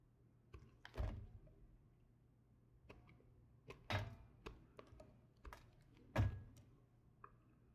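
A solid light blue bar of soap, held in the fingers, is scraped and sliced with a red patterned knife. Quiet, irregular cuts land as soft low thunks with short, bright crackling scrapes, some louder than others, and a faint low hum sits underneath.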